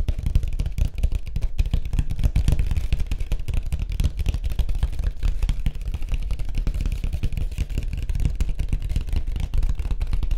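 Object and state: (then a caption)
Surfboard. Fingertips tap rapidly on a white surfboard. They make a dense, steady stream of short, dull low thuds with a deep hollow body around 59 Hz and almost no bright content. Each tap dies away almost instantly.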